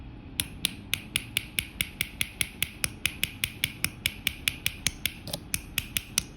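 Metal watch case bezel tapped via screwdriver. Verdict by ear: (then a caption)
Loose. A flathead screwdriver set in the bezel gap of a metal King Seiko KS 56xx case with a solid, non-unscrewing caseback is tapped in a steady, evenly spaced series of sharp, bright, metallic clicks with very little ring. The taps begin to sound slightly hollow, a sign that the crystal bezel is starting to lift just a touch.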